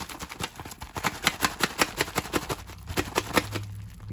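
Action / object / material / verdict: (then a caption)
shake / cardboard trading card booster box / cardboard / loose. A resealed 1st Edition Pokémon Jungle booster box from Wizards of the Coast, made of cardboard, is held loosely and shaken hard. Loose cards inside rattle and slap in quick, uneven bursts of dry clicks and knocks. The audible shifting contents mark the box as resealed rather than factory sealed.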